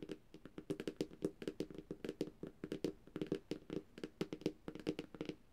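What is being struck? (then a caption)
Tablet glass screen. Long dark-painted nails on both hands tap rapidly on the glossy glass screen of a large, thin, flat black Samsung tablet lying on a surface. Around 29 quick, dry, quiet taps come in an uneven rhythm, each a short click with a low-mid knock near 300 Hz and almost no ring.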